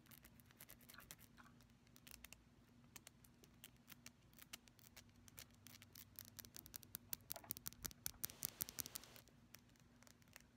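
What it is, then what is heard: Glass nail polish bottle. Long pastel fingernails tap and scratch a small purple glass nail polish bottle that appears full, and its glossy black plastic cap with a silver band. The result is quiet, fast, irregular bright clicks and scratches that grow denser and louder in the second half, over a faint steady low hum.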